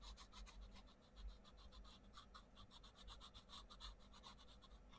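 A wooden coloured pencil tip scratches across the page of an open paperback colouring book with butterfly drawings, in colouring strokes while the other hand holds the page. Quiet, rapid back-and-forth strokes give a steady dry scratching with a bright rasp, over a faint low hum.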